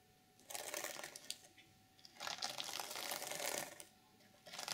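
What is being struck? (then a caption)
Reversible sequin fabric journal cover. Long nails scratch across a flat, reversible sequin fabric journal cover. The result is three bursts of bright, crackly rustling with quiet pauses between them. The sound is mostly high with almost no low end, and a faint steady tone runs underneath.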